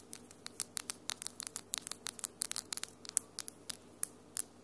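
Long almond-shaped acrylic nails with solid glitter polish tap and scratch against each other, making about two dozen sharp, bright clicks at an irregular, quick pace. Each click is very short and dry, set over a faint, steady low hum.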